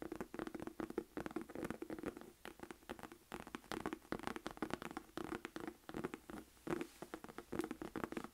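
Long acrylic nails tap and scratch the flat front face of a small, hollow black Michael Kors saffiano textured leather crossbody purse held up in both hands. Quiet, rapid, closely packed taps and dry scratching rustles repeat throughout, with a faint steady tone near 350 Hz and very short ring on each tap.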